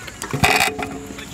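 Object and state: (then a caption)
Rattly stunt scooter on drop test. A metal stunt scooter is dropped in a drop test to hear how tight it is, giving a sharp metallic clatter with bright rattling that fades within about a second. The result sounds rattly and loose rather than tight.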